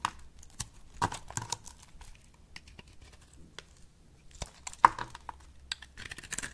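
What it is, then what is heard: Dry bar soap being shaved. A box-cutter blade in a long-nailed hand shaves and cuts a solid rectangular pink bar of dry soap held in the palm. Crisp, short scraping and crackling cuts come in uneven bursts with quiet gaps, one sharper snap standing out near the end. Curls and chips of soap fall off.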